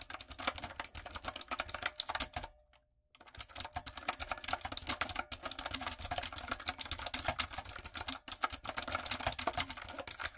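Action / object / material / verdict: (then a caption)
tap / mechanical keyboard with plastic keycaps / plastic / none. A retro typewriter-style backlit mechanical keyboard with round plastic keycaps is typed on with long nails and fingertips. Fast, dense, bright clicks and clacks fill the clip, broken by a brief silence near the three-second mark before the steady typing resumes.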